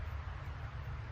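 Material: Nothing is struck.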